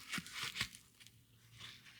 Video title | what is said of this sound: OEM vs CHINA Fuel Filter Comparison TP1015 Duramax Diesel 3.0 6.6 | this one sounds like cardboard ... definitely sounds like cardboard